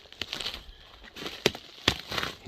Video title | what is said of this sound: Walkabout in the WoodHole. Some Things I Look at when falling Firewood Trees. #firewood #gopro #axes | you can hear how crunchy it is